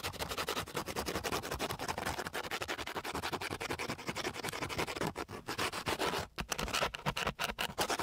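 A long flat wooden stick is rubbed rapidly back and forth across a flat, gritty, coarse sandpaper sheet. It makes a dense, continuous, bright scratching rasp of quick strokes, broken by a few brief pauses near the end.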